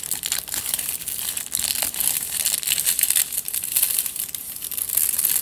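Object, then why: Tube wrapped in crumpled aluminium foil. Fingertips and nails scratch and squeeze the crumpled aluminium foil covering a long tube held diagonally. The result is a steady, dense crinkling and crackling that stays bright and high, with almost no low end and quick, dry edges that don't ring.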